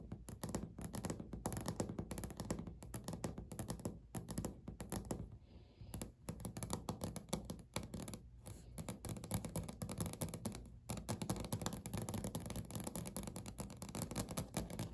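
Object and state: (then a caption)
Solid laminate countertop. Natural fingernails of both hands tap rapidly and lightly scratch across a flat, solid, speckled beige laminate countertop. The result is a dense run of short, dull, low-heavy clicks and thunks with very little ring, broken by a brief quiet gap a little past five seconds.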